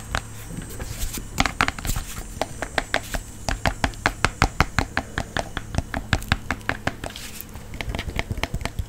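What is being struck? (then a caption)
Fabric-covered portable speaker. Fingernails tap and scratch a round, hand-sized blue fabric-covered portable speaker held close to the microphone. The result is a rapid, uneven run of short, dry taps with scratchy fabric rustle between them over a steady low hum.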